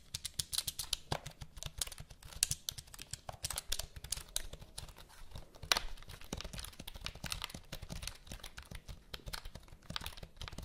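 Long nails type and tap on the keys of a full-size black plastic HP computer keyboard held diagonally near the mic. Fast, dense clicky keystrokes with bright plastic ticks and a low thud underneath fill the clip, with louder taps standing out here and there.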